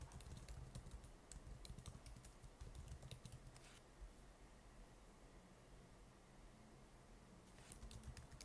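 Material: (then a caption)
Plastic. Fingertips of both hands type fast on the plastic keys of an open laptop with stickers on its palm rest, producing quick, sharp, bright clicks over a steady low rumble. The typing runs in a dense burst for the first few seconds, fades to a quieter stretch of sparse taps, then picks up again briefly near the end.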